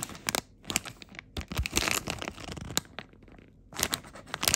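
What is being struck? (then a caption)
Plastic film packaging bag. Fingertips squeeze and crinkle a glossy blue plastic film bag printed with icons, holding a memory foam insole. Bright, papery crackles and crunches come in irregular bursts, with short silent gaps between them. The crinkling swells at the start, in the middle and again near the end.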